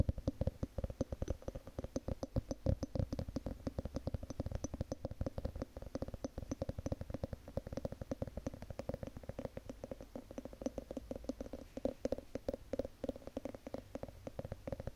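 Long painted nails tap and scratch the ribbed glass lid of a wax-filled candle jar, producing a dense, steady run of quick, dry clicks with a low thumpy body and a faint ringing tone. The taps come rapidly throughout without pause, each dying away almost instantly.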